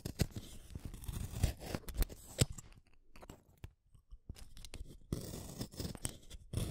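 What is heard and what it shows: A green wooden colored pencil is shaved by the metal blade of a yellow plastic hand sharpener. Rough, crackling scraping cuts come in uneven bursts with sharp clicks, mostly low-weighted, fading to a near-quiet stretch midway before the scraping picks up again.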